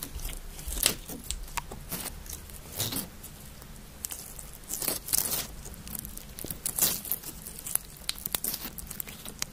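Green glitter slime, a soft sticky solid, is pulled apart and squeezed together with the fingertips of both hands just above the recorder. It makes bright, wet crackling and popping with sticky tearing sounds, rising in louder bursts over a low, quiet hum.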